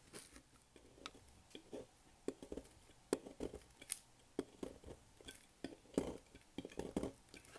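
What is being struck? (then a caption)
Bar of soap cut with a thin blade. A solid oval purple bar of dry soap, held in hand over a table, has its end cut with a thin metal blade into crisp sticks. A quiet, irregular series of short, dry crackling snaps follows, each dying away almost instantly, with a few sharper, brighter clicks standing out.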